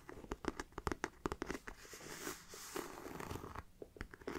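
Fingertips and nails scratch the textured front of a hollow black pebbled faux leather mini backpack near its zipper and webbing. A quick series of dry, crisp scratches and ticks runs into a steadier rasping scrape midway, then returns to short, sharp strokes.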